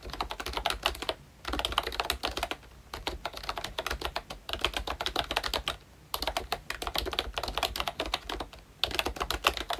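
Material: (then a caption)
Plastic. Fingertips from both hands type on a pink plastic Mickey Mouse retro membrane keyboard with round black keycaps, producing rapid, bright clicking taps in steady bursts. The bursts are separated by brief pauses, and each tap is short and dry with almost no ring.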